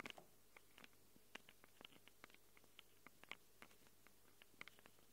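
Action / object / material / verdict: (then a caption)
scrape / handheld recorder microphone capsules, plastic and metal / plastic, metal / none. Long acrylic nails rapidly scratch the metal-rimmed microphone capsules of a small handheld Tascam recorder with a plastic body. About twenty short, dry, bright clicks and scrapes, centered around 2 kHz, skitter irregularly with no ring after each. The clicks sit over a quiet, steady low hum.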